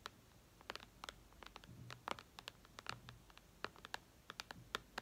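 Long red nails tap and scratch the glass screen of a white iPad lying flat. The result is a quick, uneven series of sharp, bright clicks that stop dead, with faint scratchy rubbing and a soft low hum underneath, all at a quiet level.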